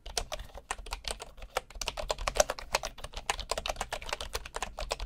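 Fingertips type steadily on a bamboo wood keyboard with wooden keys and a hollow body, producing a rapid stream of short, dry clicks and taps. Each keystroke has a woody mid-range knock around 600 Hz with a bright edge and almost no ring.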